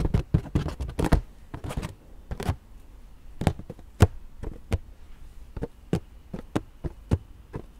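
Long nails tap and scratch a hollow, purple, inflated latex rubber balloon. Quick dull, low thumps with crisp clicky tops come in a dense flurry for the first two and a half seconds, then thin out into spaced single taps over a quiet background. Each hit dies away almost at once.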